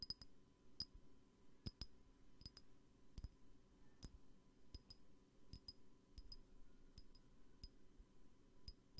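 A glass perfume bottle is tapped with about twenty sharp, bright clinks at irregular intervals. Each tap is short and dies away almost at once, over a quiet, low background hum.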